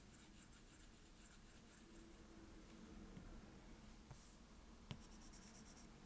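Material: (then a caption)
Glass. The plastic tip of an Apple Pencil, held in the fingers, strokes repeatedly across the flat glass touchscreen of a tablet-sized iPad lying on a desk, coloring in a fill. Quiet, steady scratching and rubbing runs throughout, with soft bright ticks and one sharper tap near the end.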